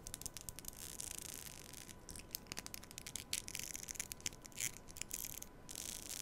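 A black plastic comb is held horizontally over a microphone with both hands while fingernails run across its teeth. The result is a quiet, bright, crackling stream of rapid plucks and clicks, with short sharp bursts rising above it, over a faint steady tone.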